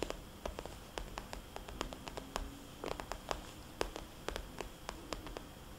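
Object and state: Vinyl cosmetics bag.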